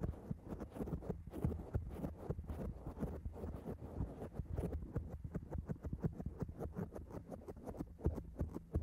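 Long acrylic nails on both hands scratch rapidly at a black foam microphone windscreen, making a dense, muffled crackling and thumping. The sound is heavy in the low end with a steady throb and many quick, short-decaying scrapes that overlap without clear gaps.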